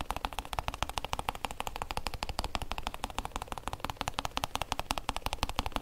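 A hollow, oblong hard-shell EVA zip case with a printed logo is tapped and scratched on its textured lid by fingertips and nails. The result is a rapid, steady run of short, dry clicks and scrapes with a low thump under each touch and almost no ring.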